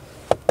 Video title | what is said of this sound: Essai Dacia Sandero Stepway GPL - Le crossover qui va (VRAIMENT) vous surprendre ! - Avis FR | ça sonne creux à l'intérieur